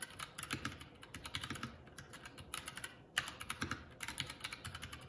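Fingertips of both hands type continuously on a Keycool K84 75% mechanical keyboard with plastic keycaps. The result is a steady, fast stream of short, bright plastic clacks with little ring and a light low thud under each press. There is a brief lull just after the three-second mark, then a sharper, louder clack as typing resumes.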